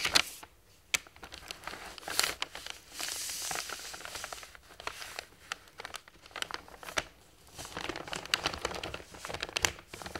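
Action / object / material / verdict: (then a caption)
scrape / large thin printed paper sheet / paper / none. A large, thin printed paper plan sheet for a toy train lies on a table and is flattened, smoothed and bent with fingertips and palms. The result is bright, dry paper crinkling and rustling with sharp crackles and short snaps, broken by brief quiet pauses, with almost no low end.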